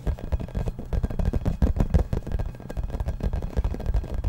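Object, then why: Hollow rubber toy ball. A hollow yellow rubber or vinyl toy ball about 15 cm across, with a printed logo, is held in both hands and tapped and scratched with fingertips and nails close to the microphone. Quick, irregular taps land as dull, hollow low thumps, with soft scratching rustle between them. The sound is boomy and bass-heavy, with almost no bright content.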